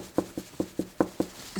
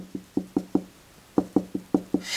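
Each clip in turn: First: drywall backed by a wood stud, solid. Second: hollow drywall between studs.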